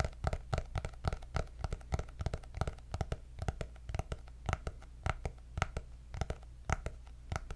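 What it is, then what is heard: Hardcover paper notebook. Long nails tap rapidly on the cardboard cover of a white hardcover paper notebook with gold dots. They make a steady run of short, dry, clicky taps with no ring, over a constant low hum.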